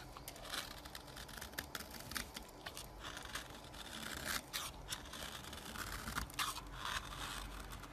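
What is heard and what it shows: A metal knife shaves and scrapes flaky curls off a solid orange bar of soap standing on its edge. The result is a steady run of soft, dry scraping and crackling with bright, brittle flecks. A low hum sits beneath throughout.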